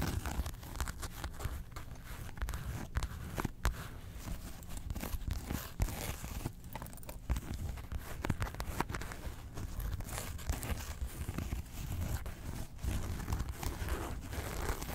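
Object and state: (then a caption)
Faux leather and felt zip wallet. Long nails and fingertips of both hands scratch across the faux-leather printed front panel and top zipper of a small, closed, hollow Porg zip wallet made of grey felt, resting on fur. The result is a steady 15-second run of dense, crinkly scratching with quick tearing-like rasps. The sound is full and hollow in the low end, with short, dry bursts that stop almost instantly.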